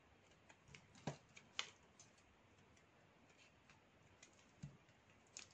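A metal blade shaves flakes downward off a narrow, solid stick of dry black soap held in the hand. The result is a series of quiet, crisp scraping ticks at uneven intervals, with a few sharper, brighter snaps standing out against a faint hiss.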